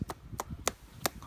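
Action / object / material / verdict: flick / plastic sneaker lace eyelet / hard plastic / real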